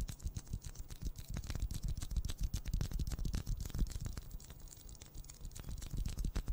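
A pink plastic ball is tapped rapidly and unevenly, producing a steady stream of soft, dull, low thuds that die away almost instantly. The taps are quiet and bass-heavy, with almost no bright high end.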